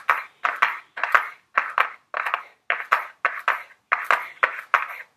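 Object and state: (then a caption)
Cardboard makeup box tapped with long nails. Very long blue nails tap and lightly scratch a small, flat Ellen Tracy cardboard makeup palette box held in the hands. The result is a steady run of quick, dry clicks, often in close pairs, with a papery midrange tone, faint bright edges and almost no ring or low end.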